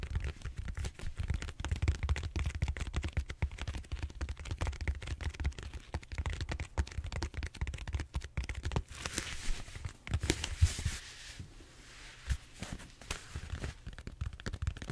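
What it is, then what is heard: Foam roller. Fingertips and short nails scratch and squeeze the textured surface of a large, solid purple foam back roller held horizontally. The result is a dense, steady stream of soft, low scratching and rubbing with quick dry crackles. Around the middle, brighter, hissier scrapes briefly rise above it.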